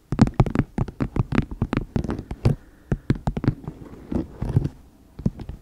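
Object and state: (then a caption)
Empty plastic toothpaste tube. Long nails tap and scratch the surface of a flattened, empty plastic toothpaste tube. About two dozen quick, dry, muffled taps land in irregular runs, each dying away almost instantly, with faint scratching in the gaps between them.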